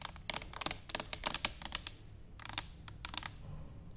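A tall, hollow stainless steel cylindrical canister standing upright is tapped with long nails and fingertips in an irregular rhythm. Fourteen short, bright, clicky taps sound with almost no ring, somewhat like typing on a keyboard. They are quiet and spaced unevenly, with a pause near two seconds.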